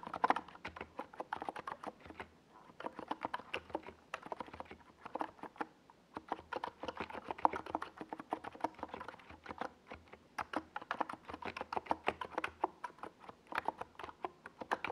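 Fingertips of both hands type rapid key taps on a compact 68-key NiZ Plum Atom 68 mechanical keyboard with a white, hollow plastic case and purple and yellow Domikey Gas Attack SA plastic keycaps, set on a desk pad. Quiet, dry, mid-pitched clacks come in quick bursts with brief pauses, each tap dying away almost instantly.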